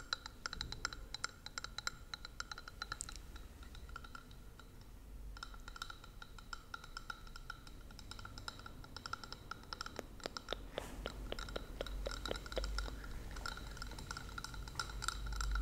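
A small, hollow, clear plastic (possibly glass) Christmas bauble with an angel figurine inside is held in both hands and tapped with long painted nails. Quick, irregular light clicks and taps, each with a brief bright, high ring, come in busy bursts with a short softer lull, over a low background rumble.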